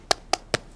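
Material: Fibreglass.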